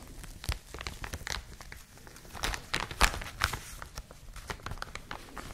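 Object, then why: Thin plastic packaging bag. A clear, thin, hollow plastic bag wrapping a white and blue printed product is held in both hands and squeezed and crinkled with long manicured nails and fingertips. The result is a steady stream of quiet, bright crinkles and crackles, with sharper snaps around the middle, all over a low rumble.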